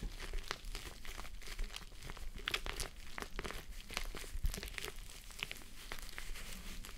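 Long nails scratch the top of the pink, soft plush fabric side of a gel face mask resting on a mannequin head. A steady stream of dry, crinkly scratching and brushing comes through, with short bright rasps over a low, dull rumble.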